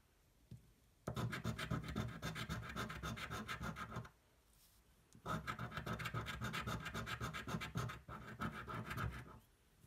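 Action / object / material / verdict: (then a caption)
scrape / thin card scratch-off ticket scraped with a coin edge / cardboard / none. A thin, flat cardboard scratch-off lottery ticket held flat on a table is scratched rapidly with the edge of a coin. Two bursts of fast, rhythmic, gritty scraping strokes are heard, separated by a brief pause, with a low papery body and bright rasping texture.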